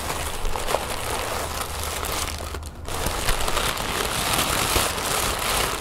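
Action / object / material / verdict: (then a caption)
scrape / thin tissue paper sheet / paper / none. Fingertips and nails crinkle and rub a large sheet of thin orange tissue paper spread on a wooden table. A steady, dense crackling rustle with a bright, papery hiss runs throughout over a faint low rumble, with a few sharper crinkles standing out. There is a brief quieter gap just before the three-second mark.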